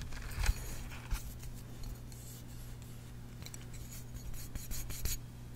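Fingernails scratch and tap along the hollow, translucent red plastic handle of a red kitchen basting brush, about 25 cm long with a red silicone bristle head, held in both hands. Soft, bright scratching and short dry clicks sit over a steady low hum, with a few sharper taps standing out. The sound stays quiet throughout.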